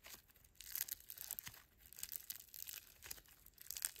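Bare fingers stretch grey foam bead slime (floam) into a long strand, then squeeze and knead it. The result is a quiet, steady stream of bright, dry crackling and crinkling from the beads, with almost no low end.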